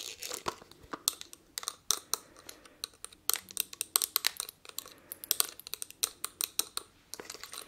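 Long nails tap and scratch the ridges of a palm-sized, blue textured-glass perfume bottle. Dozens of quick, crisp clicks and short scraping strokes come in an irregular, dense stream. The sound is bright and dry, with almost no low end and no ring after each tap.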